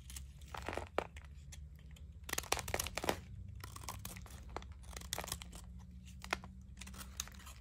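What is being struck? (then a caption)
Bar of soap. A utility knife blade shaves and carves a shrinking piece of solid blue dry Zest soap held in the fingers. Crisp, crunchy scraping and crackling bursts come in quick clusters over a low steady hum as brittle shavings break off the bar.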